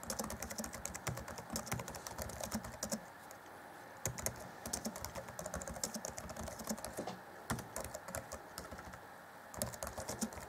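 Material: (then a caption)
Plastic. Fingertips of both hands type rapidly on the black plastic chiclet keys of a grey Acer Chromebook C20 (2014) laptop keyboard deck. A dense stream of short, bright plastic clicks with soft low thuds is heard, with brief pauses around three seconds and near nine seconds. Each tap dies away almost instantly.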